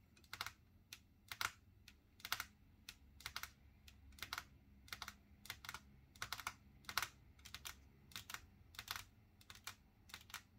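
Long natural nails painted with silver polish tap on a flat, solid wood-grain tabletop, with both hands resting on the table and fingers tapping the wood. Quick bursts of bright, crisp clicks follow one another with very short decay, over a faint low background hum.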